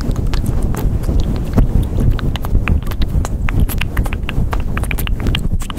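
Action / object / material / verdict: scrape / faux-fur microphone windscreen / faux fur / none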